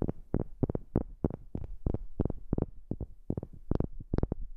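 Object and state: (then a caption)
Wooden object. Tapping on a wooden object, close-miked with a new microphone, produces a quick, uneven series of soft, dull knocks. The taps are short and deep, with no ring after each one, and a few land with a slightly brighter click.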